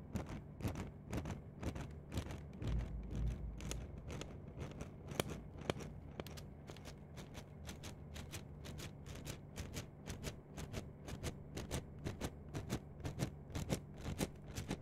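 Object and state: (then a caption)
Plastic mesh net sleeve being scratched. A long, hollow, flexible yellow-green plastic/foam mesh net sleeve is held in both hands with long nails and scrunched, rubbed and scratched close to binaural microphones. Quick, crisp crackles and scratches repeat at a fairly steady pace of about two per second, each one sharp and bright and dying away instantly. Underneath runs a constant low hum.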